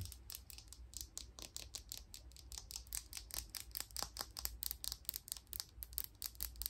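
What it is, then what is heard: Plastic makeup brush handle. A thin, hollow black plastic makeup brush handle, held in one hand, is tapped and scratched with long pink nails, giving a quick run of about 34 short, bright clicks and scrapes. Each one dies away almost at once, over a steady low hum.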